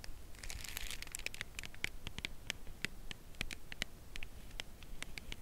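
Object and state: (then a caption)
Cardboard chocolate bar box tapped with nails. Long nails tap and scratch the side edge of a full cardboard chocolate bar box held horizontally. Many quick, dry, bright clicks with no ring sound over a soft papery scratching, which thickens into a brief crinkly rush near the start.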